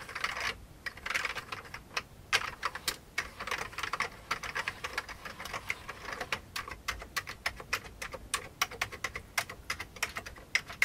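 Fingertips of both hands type steadily on the keys of an old, full-size beige plastic computer keyboard with a hollow case. Each keystroke is a dry, bright plastic click with almost no low end, dying away almost instantly. The clicks come in an uneven, continuous stream, with occasional louder taps standing out.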